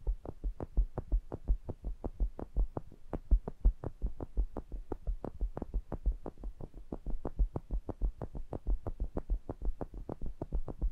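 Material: Metal.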